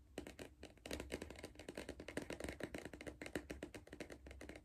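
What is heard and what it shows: Fingertips and nails tap rapidly on the side wall of a hollow Pringles cardboard crisp tube held in the hand. The result is a quick, dry stream of short, clicky taps with a faint hollow tone around 300 Hz and almost no ring after each hit.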